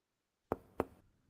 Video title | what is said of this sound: Enfermería y Paramédico Septiembre 2024 - 2025 02 18 | el sonido es timpánico el sonido cambia porque estamos percutiendo sobre el estómago un gran órgano hueco